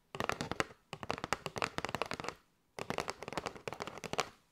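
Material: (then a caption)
Cardboard. Long nails tap rapidly on a kraft cardboard box with a window, full of paper straws. Three bursts of quick, dry, papery clicks with bright crisp edges die out almost instantly, with short silent pauses between bursts.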